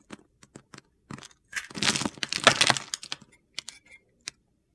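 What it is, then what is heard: Bar soap shaved with a blade. A metal utility knife blade scrapes a solid green bar of soap held in the hand, shaving off flakes. Short, crisp scraping ticks lead into a dense, gritty, high-pitched shaving burst in the middle, then trail off into a few more sharp scrapes.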